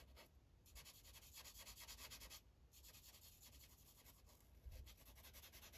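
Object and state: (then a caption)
Felt-tip marker coloring on paper. The felt tip of an orange Sharpie marker, held in the fingers, colors in a thin printed paper coloring page clipped to a clipboard. Quiet, continuous rubbing and scratching strokes come in bright, hissy runs, with brief pauses between them, over a low rumble.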